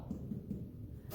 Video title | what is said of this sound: In the Wellness Center Kitchen: Irish Soda Bread | if you tap on the bottom of it it sounds kind of hollow